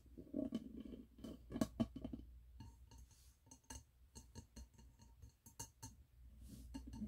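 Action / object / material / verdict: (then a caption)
tap / wax-filled glass candle jar / glass / none. Fingernails tap the side of a medium wax-filled glass candle jar with a red label and gold lid, held in the hands. A quick run of short, soft glassy clinks and ticks is heard, with a low hollow thump under the first taps, and each tap dies away almost at once.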